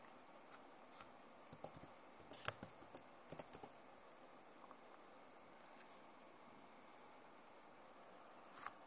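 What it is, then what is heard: Plastic laptop keyboard tapped with nails. Long nails tap and scratch lightly across the keys of a backlit plastic laptop keyboard. Soft, bright clicks and faint scratches come in an uneven cluster over the first four seconds, then fade into a quiet, hissy pause. A final sharper tap lands near the end.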